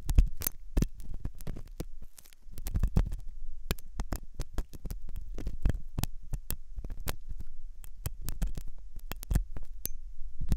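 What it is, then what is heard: Silicone ear model scraped with a metal pick. A metal dental pick scrapes inside the hollow ear canal of a white, soft silicone ear on a binaural microphone. The result is close, dense, muffled scratching and rubbing, almost entirely low and rumbling, with frequent sharp clicks and brief crackles. The sound carries on steadily, dipping quieter for a moment around two seconds.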